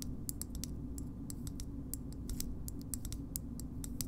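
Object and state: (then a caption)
Plastic bottle opener tapped with fingernails. Long nails tap and scratch a green hollow plastic bottle opener, making a steady run of short, bright clicks. The clicks sit over a constant low rumble, and each one fades almost at once.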